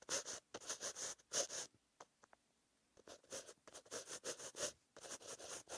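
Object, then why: Pen tip on paper notebook page. A green-ink pen tip scratches across a white lined paper notebook page while writing, giving bright, papery scratching strokes in short bursts. The strokes are separated by brief pauses, with a couple of faint light taps during a quiet stretch in the middle.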